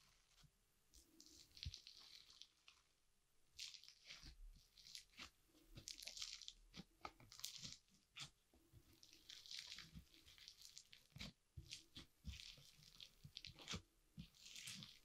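A large mound of soft, solid, multicolored foam-bead (floam) slime on a wooden board is pressed and poked with a green plastic fork. It gives repeated bursts of bright, crunching bead pops and crackles over faint low squishing, with short pauses between presses.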